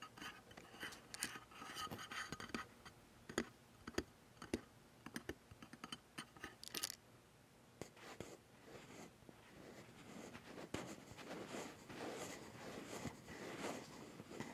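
Fingertips and nails scratch the Zeiss lens barrel and the top of a Sony A7s metal mirrorless camera body. Sharp, dry clicks and scrapes come in irregular bursts at first, then settle into a denser, softer scratching with bright hiss. Each contact dies away almost instantly.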